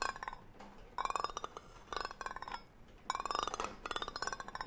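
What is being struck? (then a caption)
Metal tin can with lid. A hollow green cylindrical metal tin with a gold lid is held close to the mic while its lid rim is scratched and rubbed with a brush-like tool and long nails tap and scrape its body. Rapid bursts of rhythmic, bright metallic scratching with a clinking ring around 1 kHz alternate with softer rubbing between them.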